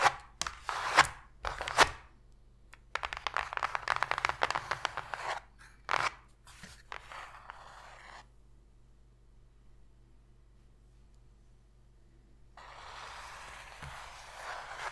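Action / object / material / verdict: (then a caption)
scrape / cardboard box tray scratched and tapped with fingernails / cardboard / none. Long pink fingernails scratch and tap the flat floor of an empty, open, hollow white cardboard box tray. Short bursts of dry, crunchy scratching and quick taps come in irregular clusters over the first eight seconds. After a quiet pause, a softer, steady, bright scratching sound returns near the end.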